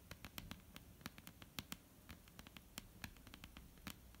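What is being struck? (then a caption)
Wooden tabletop. Long almond-shaped painted nails tap a flat, solid, dark-brown wooden tabletop in a quick, irregular series of sharp clicks. Each tap is very short, with a bright top and a low knock, over a faint steady hiss.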